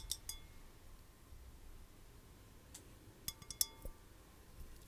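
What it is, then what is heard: Glass vase. A clear, hollow, empty glass vase with twine wrapped around its narrow end is held in the hands and tapped with long white-painted nails. Bright, short glassy clinks ring out in scattered taps, a couple early on and a quick cluster near the end, over a quiet low background.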